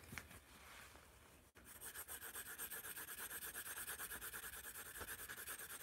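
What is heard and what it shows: A yellow wooden pencil drags across the paper of a white spiral notepad held in the hand while writing and drawing. A soft, uneven scratching opens the clip, breaks off in a brief silence, then becomes a steady run of quick, rhythmic strokes with a bright, papery hiss.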